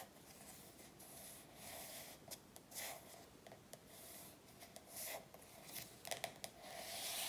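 Soft, hissy scratching with a few quick light ticks of fingernails on a glossy card book cover.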